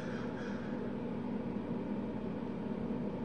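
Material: Nothing is struck.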